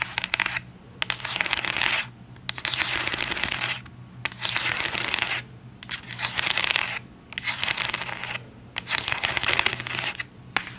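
Long acrylic nails tap and scratch a full white plastic CeraVe cleanser bottle with a pump. Bursts of dense, bright, crackly scratching and clicking come in waves separated by short pauses, over a faint low hum.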